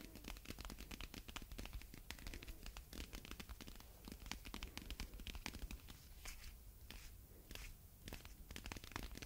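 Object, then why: Plastic packing tape roll on a cardboard core. A wide roll of red plastic packing tape with a cardboard core, a hollow ring held in both hands, is scratched and tapped on its tape surface with long red nails. Quick, dry taps and scratches follow one another in a dense, uneven stream with bright clicky edges over a low body, each sound stopping almost at once.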